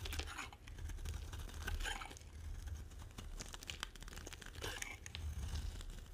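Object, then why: Bar of soap carved with a metal blade. A metal blade carves into a solid, dry, dark brown bar of soap held in the hand, scraping off crisp curls. The result is a quiet run of short, dry scraping and crackling strokes with bright crunchy bursts over a low steady rumble.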